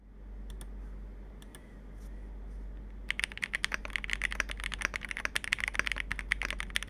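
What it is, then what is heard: Mechanical keyboard being typed on. Two hands rapidly type with their fingertips on a Capsule 65, a compact 65% plastic mechanical keyboard with a dark hollow case filled with foam, an FR4 plate, and black and multicolour plastic keycaps. For the first three seconds only a few scattered key clicks sound over a steady low hum. Then a fast, dense run of short, bright clacks follows, each dying away almost instantly.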